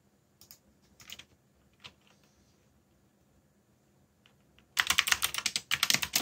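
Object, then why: Plastic mechanical keyboard. Fingertips tap the keys of a backlit black plastic mechanical keyboard while typing. A few scattered, bright clicks come first; then, from about 4.8 seconds, a dense run of rapid, sharp clacking continues to the end with only a brief pause.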